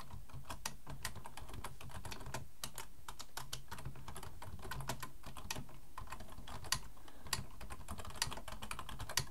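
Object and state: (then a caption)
Plastic computer keyboard. Both hands type fast with their fingertips on a black, full-size plastic computer keyboard resting on a wooden desk. A rapid, continuous stream of sharp, bright key clicks rises over a steady low hum, with a few louder clacks near the end.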